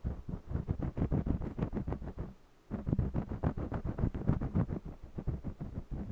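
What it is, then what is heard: Crayon rubbing on cotton canvas. A red jumbo wax crayon scratches and rubs across the textured surface of a small stretched cotton canvas on a mini easel while coloring. It makes quick, uneven back-and-forth strokes with a dull, low, muffled grain, and the strokes pause briefly just past the two-second mark before resuming.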